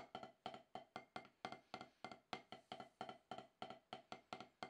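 Two wooden drumsticks tap on a solid, octagonal HQ snare practice pad with a dark rubber surface, played in a practice session to shake off more than ten years of rust. Dry, woody knocks repeat at a quick, uneven pace, each with a short, thin attack centered around 750 Hz and a faint bright edge. The knocks die away almost instantly.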